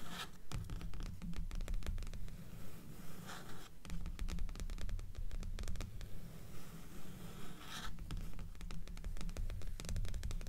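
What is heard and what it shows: Long nails on both hands scratch the cover of a dark-covered paperback book of solid paper resting on top of a stack of books. The result is a steady run of quick, dry scratching strokes with soft rustling, at a fairly even pace and full of low rumble.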